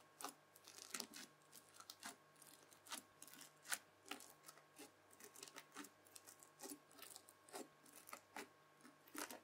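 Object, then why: Bubbly slime pressed with a plastic fork. The tines of a white plastic fork press repeatedly into red bubbly slime, leaving rows of holes. Each press gives a short, bright, crackly pop or squelch in a steady series over a faint, constant low hum. The pops are quick and dry, dying away almost instantly.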